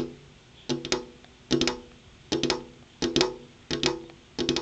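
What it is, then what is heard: Glass window pane tapped with fingernails. Long purple-painted fingernails tap rhythmically on a large, solid, flat glass window pane. Six quick clusters of crisp, bright clicks are heard, each with a short tonal ring around 370 Hz that dies away almost at once.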